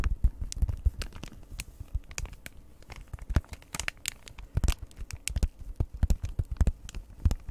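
Long red nails tap and scratch the front of a flat, hand-sized Christmas gift tags cross-stitch kit, a printed card in plastic packaging held in front of the mic. Quick, dense taps mix with crinkly, bright scratches, and each sharp click carries a deep low thump.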